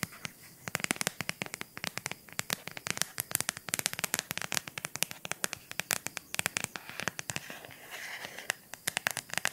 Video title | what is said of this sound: TAPPING ASMR 🩵 | Una cover in silicone, molto semplice.